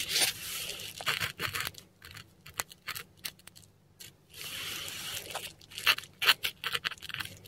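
A metal dip pen nib scratches Latin letters in ink across a flat, textured Korean paper sheet. Bright, dry scratching strokes come in irregular bursts, some sustained and some short and sharp, with brief quiet pauses between words.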